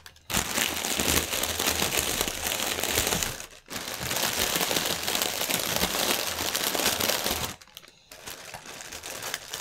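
Fingertips press and crinkle a strip of clear, inflated plastic air-pillow packaging resting on a table. The result is dense, bright crinkling and crackling that runs almost continuously, with brief pauses near 3.6 seconds and around 7.7 to 8 seconds before it resumes slightly softer.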